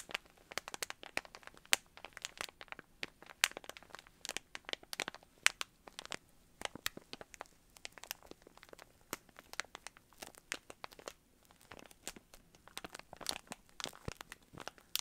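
A small clear plastic bag of yarn pom-poms with a cardboard header is held in both hands while the fingertips crinkle and scratch the plastic. Dense, bright crinkling and sharp crackling clicks continue steadily throughout, each dying away almost instantly, with very little low end.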